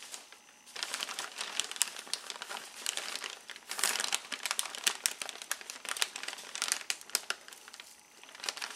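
Fingertips and a palm rub, press and crinkle the outside of a large, clear, thin plastic bag with red print that is full of white and yellow foam packing peanuts. A bright, dry crinkling with dense crackles and sharp snaps runs almost the whole time, easing off briefly at the very start and near the end. There is no low rumble.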